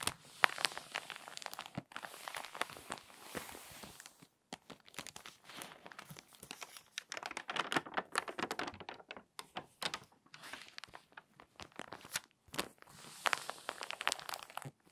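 A palm and long nails rub and crease the spine of an open, crinkly glossy paper magazine, and then a page is turned. Soft, dense crinkling and crackling come in bursts with brief pauses, bright and papery with almost no low end. Short rustling sweeps mark the page turn.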